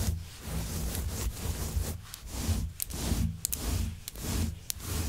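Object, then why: Synthetic faux fur rug. Long white nails scratch and comb through the long fibers of a grey shaggy synthetic faux fur rug. The result is a series of soft, rhythmic rubbing strokes, each a breathy rustle with a dull low body and occasional bright, brief ticks as the nails catch the fibers.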